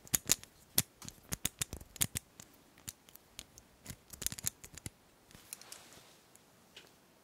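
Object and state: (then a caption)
Combination padlock. A small white combination padlock with a metal shackle is held close while fingers and long nails click its dials and shackle. Quick, bright, dry clicks and ticks come in irregular bursts, mostly high-pitched with almost no ring, and tail off into sparser, softer taps near the end.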